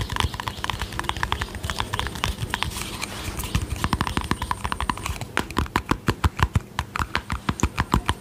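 Long painted fingernails tap and scratch a small, round, hollow white plastic cosmetic tub with a yellow screw lid. For the first five seconds the tapping is dense and continuous with scratchy texture; after that it becomes slower, evenly spaced hollow clicks. Each tap has a dull low thud and a bright click, both dying away almost instantly.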